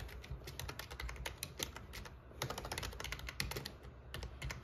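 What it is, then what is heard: Plastic membrane keyboard being typed on. Fingertips with short nails type steadily on the black plastic keycaps of a full-size, metal-topped RGB plastic membrane gaming keyboard with a hollow body. A continuous run of quick, bright clacks with short decays sits over a constant low hum.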